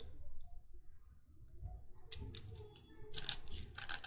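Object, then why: Chalk stick scraped with a metal knife blade. A metal utility knife blade is scraped along the length of a solid white chalk stick with a flattened face. Bright, gritty scraping bursts rise over a low, steady rumble, starting faintly and growing denser and louder in the second half.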